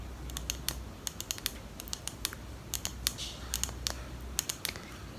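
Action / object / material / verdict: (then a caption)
tap / small glass perfume bottle with plastic cap / glass / none. Long pink nails tap and click on a small clear glass perfume bottle with a pink plastic cap and a small item inside, held close to the mic. Quick, bright, dry clicks come in an irregular run over a low, steady hum, each dying away almost at once.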